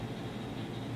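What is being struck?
Nothing is struck.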